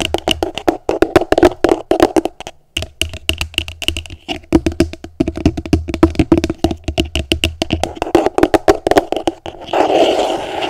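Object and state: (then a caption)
Empty plastic container, hollow. Long nails tap rapidly on the bottom of an upside-down, hollow, empty translucent plastic container, making quick, dry, hollow clicks with a pitch near 330 Hz and almost no ring. A low hum runs beneath the taps, and the clip ends in a short, steady, brighter rustling wash.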